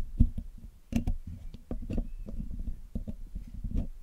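Metal tweezers and a metal needle pick scrape and tap the hollow black metal mesh grille of a Blue Yeti microphone as it is cleaned. A quick, irregular series of dull, low clicks and scratches is heard close up. Each sound dies away almost at once.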